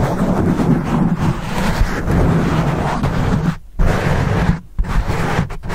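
Fingertips and short nails from both hands quickly scratch and rub a large, soft, porous black foam windscreen over a hollow microphone head. The result is a dense, boomy rumble of scratching with a low hum, broken by two brief near-silent gaps.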